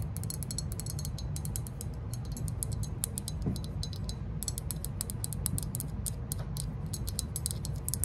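Long nails scratch and tap rapidly across the glazed body and rims of a hollow green glazed ceramic lantern figure held in the hand. The result is a dense run of short, bright, clicky scrapes over a steady low hum.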